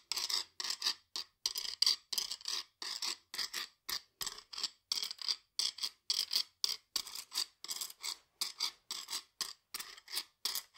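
A hollow, ridged stainless steel guiro is held upright in one hand while a flat metal scraper is drawn along its ridges. The result is a steady run of short, bright, rasping scrapes separated by brief silences, with no low end and no ringing after each stroke.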